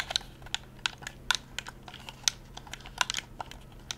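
A hollow, handheld plastic Xbox-style game controller is held in both hands at chest height while fingertips and thumbs rapidly press and tap its buttons. About a dozen sharp, clicky plastic snaps come out, bright and high-pitched and dying away almost instantly, with quiet gaps between them.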